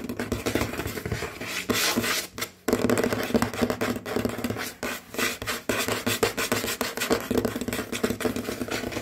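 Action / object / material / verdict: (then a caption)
tap / wooden tabletop / wood / none. Fingernails and fingertips of both hands, with rings on the fingers, rapidly tap and scratch a large solid dark wooden tabletop. Dense, quick clicks and raspy scrapes run through the clip, broken by a brief near-silent pause around the 2.5-second mark.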